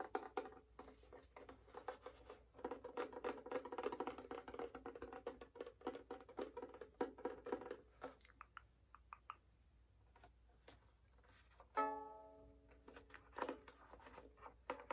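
Fingernails of both hands tap rapidly on a hollow wooden violin, first on the back and then on the front, making quick, dry, hollow knocks with a woody mid-range body. The patter thins to a few scattered clicks, then a single ringing tone sounds and fades before light tapping resumes.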